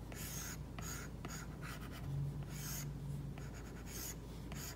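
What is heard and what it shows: A plastic stylus tip strokes across an iPad's glass screen fitted with a matte plastic screen protector while painting an eye. The result is a series of bright, airy scratching and rubbing strokes over a steady low hum.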